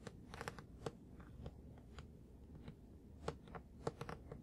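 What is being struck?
Plastic-wrapped paper book.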